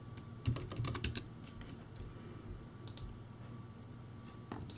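A backlit plastic typewriter-style keyboard with round white plastic keycaps is typed on, one hand pressing the keys with its fingertips. Quick, irregular clicky keystrokes come in a cluster near the start, then sparser taps follow over a low steady hum. A faint tone is held through most of the clip.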